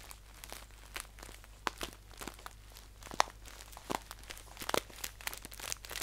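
A green paper tea pouch is held upright while fingertips crinkle and squeeze its top. The result is crisp, dry crackling and crunching in irregular bursts, with a few sharper, brighter snaps over a faint, steady low hum.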